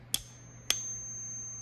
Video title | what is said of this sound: FAKE PRE 33? | very [hard] to hear the Ping on such a small coin